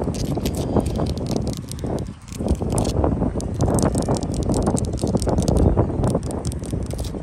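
Long light-blue acrylic nails scratch quickly across solid sandstone wall blocks with mortar joints. The result is a dense, continuous gritty rasping with a heavy low-end rumble and faint bright crackle. It briefly softens around the two-second mark before resuming at steady strength.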